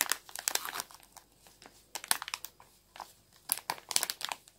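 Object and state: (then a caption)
Plastic bag of ground pepper. A small clear plastic bag full of ground black pepper, with a paper label, is held in one hand and squeezed and crinkled with fingertips and long nails. Quiet, bright crinkling and crackling comes in quick, dry bursts with soft pauses between them. The loudest clusters fall near the start, around two seconds, and toward the end.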